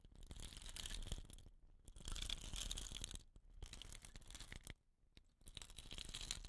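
A hollow, dot-painted wooden rain stick is held horizontally in both hands while fingers rub and scratch its rattan ends and painted body. Dense, bright scratching and rustling comes in bursts, with brief quieter gaps between them.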